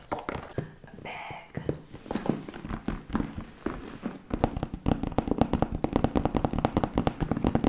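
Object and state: Patent leather handbag, tapped.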